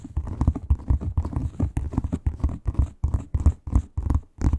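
Long pointed nails scratch rapidly over a flat red crocodile-textured leather wallet, producing a quick series of short, dull rasping strokes. The sound is heavy and low with little brightness, each stroke dying away almost at once.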